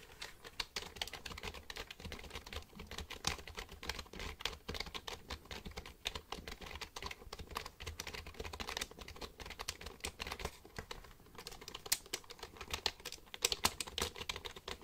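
A black plastic computer keyboard is held upright while fingertips type across its keys. A steady run of quick, bright plastic clicks and taps comes in uneven bursts, each short and dry with almost no ring.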